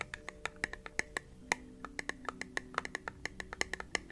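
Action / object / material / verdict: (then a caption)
tap / small glass jar with lid / glass / none. Fingertips and nails tap rapidly on the lid and sides of a small, round, clear glass candle jar, producing a steady run of about 25 sharp, bright clicks. The clicks sound like typing, each one ringing briefly with a glassy tone.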